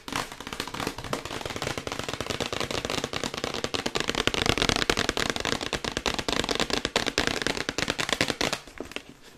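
Long white acrylic nails tap rapidly on the printed side of a glossy cardboard Yeti box held in both hands. The result is a fast, steady stream of crisp, dry, bright clicks with almost no ring, fading slightly near the end.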